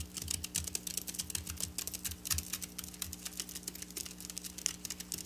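Long black nails scratch across the rows of flat silver sequin fabric lying on a table. A rapid, steady stream of bright, crisp clicks and ticks plays over a faint constant low hum.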